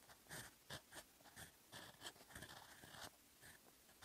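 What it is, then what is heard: Steel pen nib scratching on paper. A fountain pen's steel nib scratches across a sheet of lined writing paper as it writes in orange ink. Short, bright scratchy strokes come in quick bursts, with a faint hiss between them.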